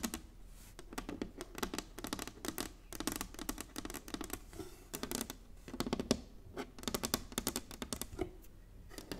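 Long nails on both hands tap rapidly across a flat inlaid wooden chessboard, a solid board resting on a table. The result is a dense, uneven patter of sharp, bright clicks with a light woody body, each tap dying away almost instantly and the bursts coming in quick flurries.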